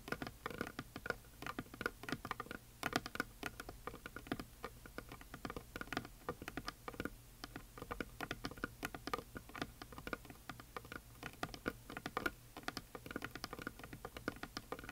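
A large, solid, flat heart-shaped wooden sign, painted white with glitter lettering, is tapped across its surface with long fingernails and fingertips. Quick, dense, dry clicks and taps patter continuously in an irregular rhythm, each fading almost instantly, with a few sharper accents standing out.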